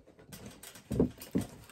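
A knuckle knocks twice on a cheap plastic/composite pole-dancing platform boot, one of a lower-priced pair from another company, giving two dull, low, short thuds with almost no ring. The knocks sound hollow like cardboard, and after only two or three wears the boot is already coming away at the heel.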